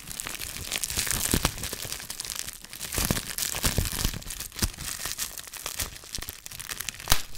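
A small folded piece of clear plastic bubble wrap with yellow tape is pinched between fingertips, popping the bubbles and crinkling the sheet. A steady run of close, dry crinkling with bright, crackly edges is broken by many sharp little pops, the loudest one near the end.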